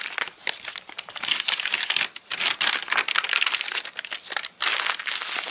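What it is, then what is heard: Stiff rain-dried paper catalogue pages. Fingertips bend, flip and crinkle the stiff, wavy pages of an open, rain-dried paper catalogue. The result is dense, bright, crackly crinkling with no low end, broken by two short quiet gaps before it resumes.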